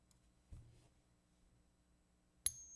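A 1964 silver quarter is pinged once, giving a bright, high ring that holds a steady tone after a sharp strike, preceded by faint rustling. The ring pattern is recognized as silver and the coin is confirmed genuine.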